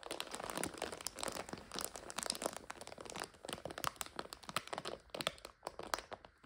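A full plastic bag of dry egg noodles is tilted and turned by hand, and the plastic crinkles with dense, crisp rustling. The many short crackles are bright and close together, with a few sharper crunches standing out and little low end.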